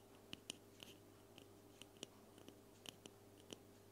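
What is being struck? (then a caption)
Aluminum aerosol spray can. Long painted nails tap and scratch a hand-sized, silver-white cylindrical aluminum aerosol spray can with a hollow metal body, held in front of the recorder. About a dozen sharp, quiet ticks land unevenly, each giving a brief bright metallic ping near 3 kHz that dies almost at once. A steady low hum runs underneath.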